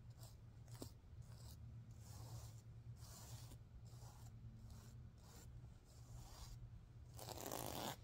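Long nails and fingertips stroke and scratch back and forth across the reversible teal and green plastic sequins of a soft, stuffed heart-shaped fabric pillow, flipping them. The result is a quick, uneven series of bright, crisp rasping and scratchy rustles over a steady low hum, with the last stroke the loudest and fullest.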